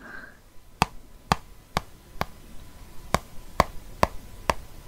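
A ballpoint pen taps and traces on the glossy paper cover of a Rome guide book held in one hand. Eight sharp, dry clicks land at an uneven pace, each with a brief ring near 1 kHz over a quiet background.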